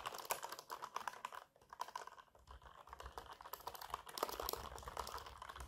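A black mechanical keyboard with plastic keycaps and hollow switch housings, resting on a lap, is typed on fast with the fingertips and nails of both hands. Rapid, clicky plastic taps come in dense bursts, with a short lull in the middle before the typing picks back up.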